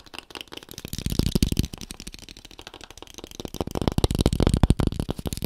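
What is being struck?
Small thin cardboard box.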